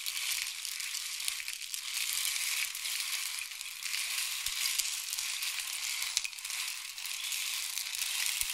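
A long, hollow, painted wooden rain stick is held near the ear and tilted, sending pellets trickling down inside it. The result is a steady, bright, hissing patter that stays high and airy throughout, with almost no low end and only faint scattered clicks beneath the continuous rush.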